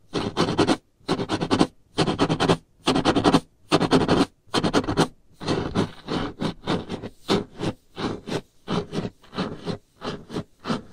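Long painted nail tips scratch across a solid varnished wooden tabletop in repeated bursts of dry, broadband scraping. The first half has longer strokes separated by brief silences; later the strokes become shorter and quicker.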